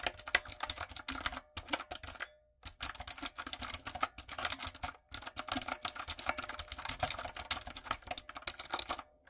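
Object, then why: Mechanical keyboard with plastic keycaps. Long nails and fingertips type on a retro typewriter-style backlit mechanical keyboard with round plastic keycaps. It makes a fast, bright stream of sharp, clicky keystrokes, broken by a few brief pauses.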